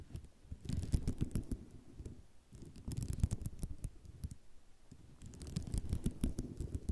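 Long nails tap and scratch across a flat sheet of small white ceramic mosaic tiles, making dense, low clicking and rattling with scattered bright ticks. The sound comes in three bursts, fading between them.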